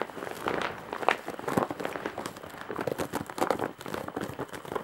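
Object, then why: Woven straw bag with embroidery. Long nails scratch across the surface of a large woven straw and jute bag with embroidery, making a dense run of dry, crinkling, crackly scrapes. The scratching is quick and continuous, with brief louder rasps centered in the midrange and little low end.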